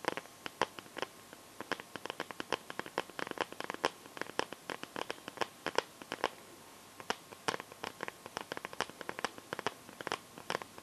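Long yellow-painted nails tap and scratch the back of a hand-sized smartphone in a clear plastic liquid-glitter case. Dense, irregular bursts of sharp, dry clicks and brief scratches are heard, with quick decay and almost no low end. There is a short lull near the middle.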